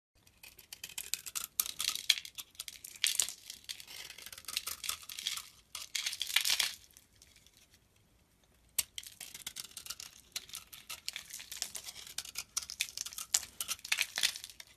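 A utility-knife blade scrapes and shaves the surface of a hand-sized solid soap bar with a red outer layer and a yellow-brown core, held in the palm. Dense, bright, crackly scraping comes in bursts with a quiet pause near the middle. Then the shaving resumes steadily to the end.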